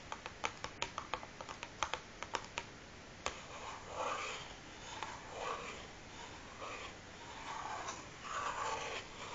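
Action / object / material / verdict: tap / closed cardboard matchbox full of matches / cardboard / none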